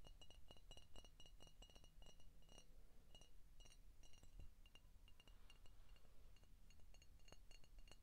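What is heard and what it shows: An empty, hollow clear glass contour Coca-Cola bottle is held in the hands and tapped with short painted fingernails along its neck and body. The result is a quiet, rapid series of light clinks with bright, high ringing tones, over a low background rumble.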